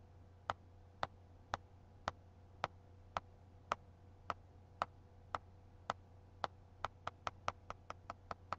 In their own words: Tapping on a book with one nail.